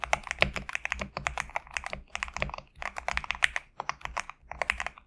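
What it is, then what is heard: Mechanical keyboard with PBT keycaps. Fingertips type steadily on a compact GMK67 mechanical keyboard with PBT plastic keycaps resting on a desk mat. The result is a rapid run of short, dry, bright clacks centred near 2 kHz, with brief pauses just before the 2 and 4 second marks. A faint low thud sits under each keystroke.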